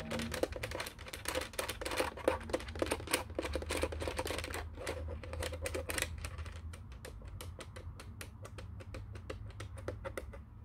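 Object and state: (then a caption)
Plastic telephone keypad. Fingertips and nails tap and click the buttons of a black plastic office telephone keypad, making rapid, irregular bright clicks over a steady low hum. The clicks come thick and fast at first, then thin out into sparser, quieter taps, with a faint tone near 520 Hz under the plastic clatter.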